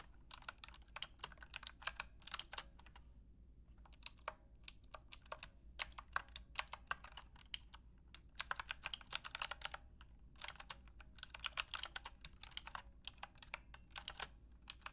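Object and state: Plastic mechanical keyboard being typed on.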